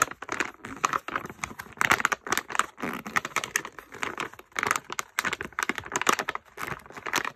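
A medium printed plastic stand-up pouch full of wrapped bath bombs is held in both hands and crinkled and squeezed with fingertips and short painted nails. Dense, bright crackling crinkles come in quick irregular bursts with brief pauses, the sharp rustles dying away almost instantly.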